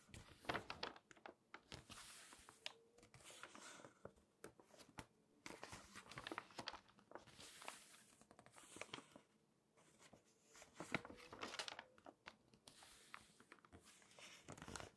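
Long nails and fingertips rub the pages of an open glossy paper magazine while its pages are turned. Crisp, bright crinkling and scratchy rustles come in bursts with many short, sharp ticks, separated by brief quieter pauses.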